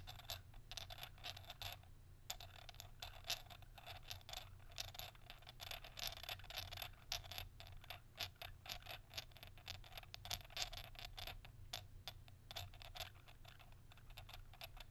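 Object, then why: Double-ended pressed glass shaker with metal caps. Fingernails rapidly tap and scratch the textured surface of an elongated, hollow, double-ended pressed-glass salt and pepper shaker, with metal caps at both ends, held horizontally in both hands. The result is a dense stream of bright, dry clicks and raspy scrapes with almost no ring, centered around 3.4 kHz, with a brief pause near the two-second mark. A steady low hum runs underneath throughout.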